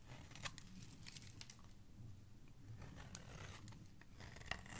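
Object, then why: Bar of soap cut with a blade. A dark blade cuts and scrapes curls from the middle of a solid pink soap bar held in the hand. Crisp, crunchy scraping and cutting sounds run throughout, with sharp bright clicks over a steady low rumble. A louder snap comes near the end.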